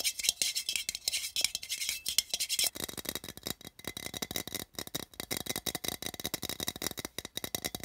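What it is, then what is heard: Printed tin can tapped. Fingertips and nails tap rapidly on the side of a small, open, empty metal tin with a printed pattern, making fast, dry, hollow clicks. The taps are bright and tinny and die away almost at once. Partway through, the tapping turns fuller and denser.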